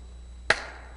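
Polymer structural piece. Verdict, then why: Damped. A polymer structural piece is struck once and gives a short, dull chop instead of a ring, with a brief tail fading out within a fraction of a second. Its high mechanical losses reduce the resonances, leaving a damped remaining resonance that is moved down in frequency.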